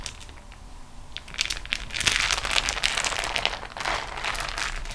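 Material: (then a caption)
Waxed cotton. Fingertips and nails press and roll the rolled fold of a beeswax-coated cotton food wrap sheet resting on a table. After a quiet first second, bright, dry crinkles and crunches build into a dense, irregular crackling that carries on through the end.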